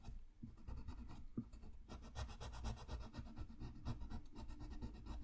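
A green-barrelled wooden colored pencil is rubbed and scratched back and forth across a thin sheet of drawing paper, a coloring page lying flat on a white desk. The result is a quiet, steady, dry scratching and rubbing with brisk, uneven strokes over a soft low rumble, with brighter scratchy bursts as the pencil bites into the paper.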